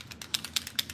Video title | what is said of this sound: Free Spirit Beading with Kristen Fagan: Make Bead Jewelry With Vintaj Patina Paint & Beading Wire | you hear that little ball rolling around